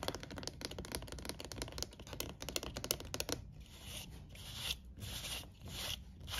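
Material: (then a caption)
Plastic. Fingertips and nails tap and scratch the rim and slotted walls of an empty, beige, shoebox-sized hollow plastic crate. A quick run of dry, clicky taps lasts about three and a half seconds. It gives way to softer, bright scratching strokes that swell and fade.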